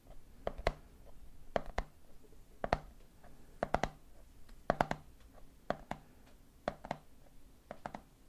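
Fingertips tap the top of the red plastic lid on a medium clear plastic jar full of peanuts. They land in short clusters of two or three quick taps, about 19 in all, each a dry, hollow knock with a mid-pitched body and no ring.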